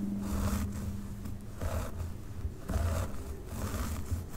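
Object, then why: Synthetic wig hair on a mannequin head. Both hands with long pink nails scratch and rake through a dark synthetic wig on a mannequin head, starting from the top. The result is a soft, continuous scratchy rustle that swells and fades with each stroke over a steady low, muffled rumble.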